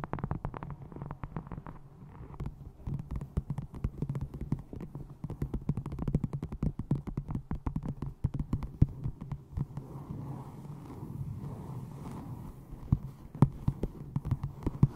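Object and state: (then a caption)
Leather-bound notebook. Long nails tap rapidly on the cover of a brown textured leather-look notebook with a ribbon marker, while hands hold it at the sides. The result is a dense run of short, dull, low-pitched taps with almost no ring, layered over a steady low hum.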